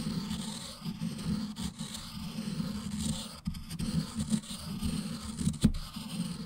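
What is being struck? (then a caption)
Ink stick on a stone inkstone. An ink stick held in the fingers is rubbed and ground against the surface of a round, black, solid stone inkstone with ink in its well, while the other hand holds the stone in place. The result is a steady, low, gritty scraping that swells and fades with each stroke, with a few sharper scratchy catches near the end.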